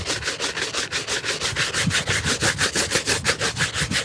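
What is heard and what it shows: A hollow, empty black leather shoe held in one hand is brushed hard with a wooden-backed shoe brush. About nineteen quick, steady back-and-forth strokes make bright, hissy bristle rasps with a faint hollow thump from the shoe on each pass.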